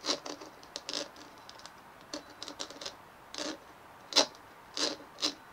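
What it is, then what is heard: Bumpy plastic ball. Fingernails scratch and tap the dimpled surface of a white, fist-sized bumpy plastic ball cupped between both hands on a wooden table. The result is a scattered series of short, dry, bright, crackly scratches and clicks with almost no low end and very little ring. The bursts are quiet, and a few land louder near the end.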